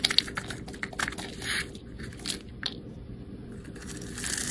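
A snap-off utility blade scrapes and cross-cuts the surface of a solid rectangular green bar soap held in the hand, so small cubes and shavings crumble off. The sound is a series of crisp, bright scratches and crunchy crumbling crackles over a faint low hum. Several sharp cuts stand out at the start, and a longer scraping swell comes near the end.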